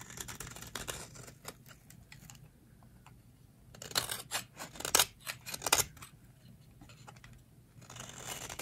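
A metal utility blade scrapes curly shavings off a solid, hand-sized, rectangular bar of dry pink soap held in the hands. It makes crisp, bright, dry scraping strokes at an irregular pace, softer at the start and end and louder in a cluster of sharp strokes in the middle. Each stroke is short with almost no ring.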